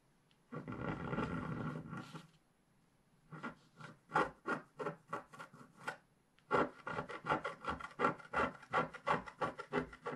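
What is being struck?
Coated scratch-art paper scraped with a wooden stylus.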